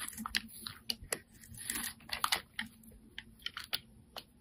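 A metal utility-knife blade scrapes a solid, rectangular, hand-sized orange laundry-style soap bar, shaving off thin curls. The result is a quiet string of crisp, dry, bright crunching clicks and short scrapes with almost no low end, each dying away at once.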